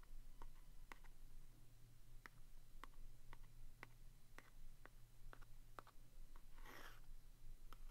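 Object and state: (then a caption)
Cardboard staple box. A wooden stick taps and traces the front of a small, red printed vintage cardboard box of Neva-Clog staples held in the hand. Soft, dry, short taps are spread through the clip, with a brief scratchy rubbing near the end, over a steady low hum.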